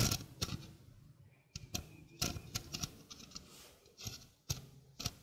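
A small, hollow stainless steel sink strainer is held in the hand while fingertips and nails tap its rim and mesh. The result is a series of sharp, uneven clicks and light metallic taps, each with a bright attack, a low hollow thump underneath, and almost no ring.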